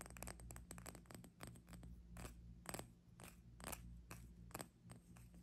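Fingertips and long nails tap and scratch a small, clear, hollow glass hourglass held horizontally in both hands, with one bulb full of pink glitter sand. The result is quiet, rapid, bright clicks and short scratchy strokes with little ring, over a steady low hum.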